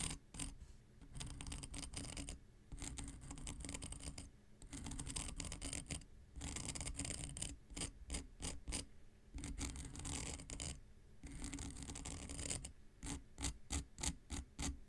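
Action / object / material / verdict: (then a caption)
scrape / emery board nail file scratched with a knife tip / emery abrasive / none. The tip of an X-Acto knife is scratched lengthwise along a long, flat, dark grey emery board nail file with a solid, gritty abrasive surface. Long, raspy, bright scraping strokes alternate with short pauses and a heavy low rumble underneath. Toward the end the strokes turn into quick, short, separate scratches.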